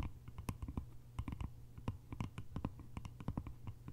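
Long nails tap the lid top of a small, round, hollow bamboo jar with a lid, then tap and scratch along its sides. The result is a quick, irregular run of short, dry clicks and taps that die away almost instantly, with soft scratching and a steady low hum underneath.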